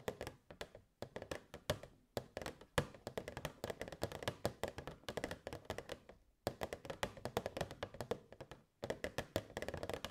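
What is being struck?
Clear plastic box.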